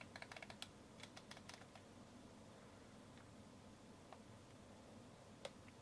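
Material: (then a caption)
Plastic. A fingertip and nail tap and turn the ridged plastic, rubber-textured focus ring of a Centon K100 SLR zoom lens. A quick burst of sharp, dry ticks comes first, then sparser clicks over a soft, steady low hiss, with one brighter tick near the end. Each tick is crisp and bright and dies away almost instantly.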